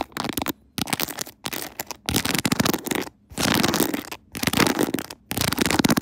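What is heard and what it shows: Long nails scratch and tap across the pearl and rhinestone decorations of a clear, bejeweled plastic phone case set on a tripod. Dense, crackly, bright scratching clicks come in bursts separated by brief silent pauses.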